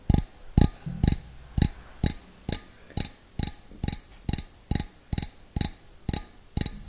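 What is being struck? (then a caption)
Small stainless steel bowl. Fingertips and nails tap the outside of a small, hollow, empty stainless steel bowl held close. Fifteen separate taps land at a slow, fairly steady pace, each a short, dull low knock with a bright clicky edge that dies away almost at once.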